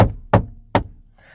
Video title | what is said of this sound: 2020 Dacia Sandero 66KW Expression History and Review | when you knock on it the hollow sound emanates around the entire cabin